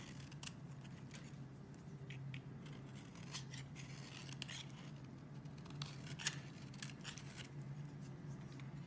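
A metal blade scrapes and carves a solid, partly carved oval green bar of soap held in the hand, and green flakes pile up below. Crisp, bright scraping and shaving strokes come one after another over a steady low hum.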